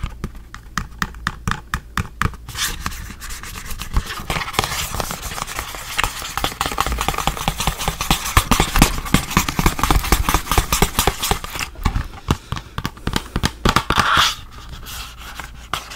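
Fingertips rub and scratch the surface of a small, hollow, printed blue and white cardboard box held in one hand with its flap opened. Quick, separate scratchy taps open the clip, then build into dense, continuous rubbing with a papery hiss and sharp bright scrapes. The scratches ease back into sparser taps near the end.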